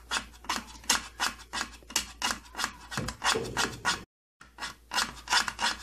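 Fingertips and nails scratch and rub the thin side panel of an opened purple plastic tattoo kit case. Bright, dry rasping strokes repeat about three times a second, each a short burst of high hiss with little low end. The strokes break for a brief silence near the four-second mark before resuming.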